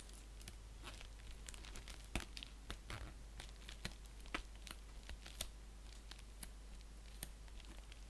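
An empty-looking, flat orange padded bubble mailer (likely paper or plastic with bubble lining), lying on a blanket with a clear plastic sleeve at one end, is scratched and crinkled with fingertips and nails. Quick, bright crinkling and scratching bursts come one after another over a steady low hum.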